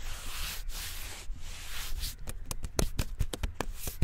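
Fingertips rub and scratch the smooth bark of a slim, solid tree trunk in a brushing motion close to the microphone. Long, steady hissing strokes give way to about ten short, crisp scratches over a low rumbling undertone.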